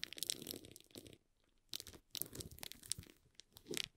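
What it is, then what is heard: Shrink-wrapped cardboard box. A small, hollow cardboard box in plastic shrink wrap has its film rubbed and scratched quickly by fingers along its sides. Bursts of bright, dry crinkling and scratching rise and fall, with a near-silent pause in the middle before the rubbing resumes.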